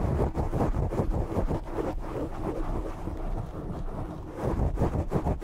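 Short nails scratch the sides and top of a black foam microphone windscreen. The result is a dense, muffled, low rumbling scrape with rapid rustling bursts and almost no high end, swelling louder at the start and again near the end.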